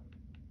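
Hardened dip powder acrylic coating on a fingernail is tapped to check that the activator has fully set it before buffing. The taps give short, hard clicks over a steady low hum. The coating is fully hardened and ready to buff.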